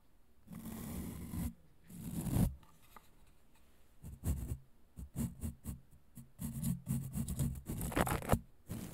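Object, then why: Plastic vacuum brush attachment with bristles. A hand-sized hollow grey plastic vacuum cleaner brush attachment with a red clip and bristles is scratched and tapped with long nails. Long, rough, broadband scratching strokes alternate with bursts of quick, dry, hollow taps that have low body and almost no ring, in a close, quiet setting.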